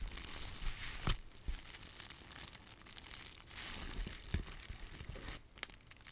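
A sheet of clear plastic bubble wrap is held in both hands and crinkled and rubbed by fingers with long nails. It makes a steady, bright, papery crinkling hiss with a low rumble of handling underneath. Occasional sharper crackles and snaps poke out above it.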